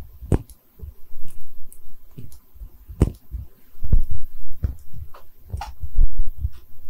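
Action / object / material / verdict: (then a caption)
tap / small porcelain bottle / porcelain / none. Long red nails tap a small, cream-colored, hollow, textured porcelain liquor bottle held in both hands and briefly tilted. The result is an irregular series of soft, dull, low-pitched knocks that fade quickly, with a few faint bright clicks over a quiet background.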